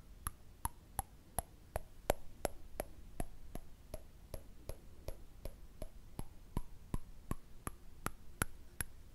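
A small, round, thin, hollow silver-coloured metal candle lid is held up in both hands and tapped and scratched with fingertips and short nails. About two dozen quick, light taps come at a steady pace, each a short metallic tick with a bright edge. Soft scratching noise fills the gaps between the taps.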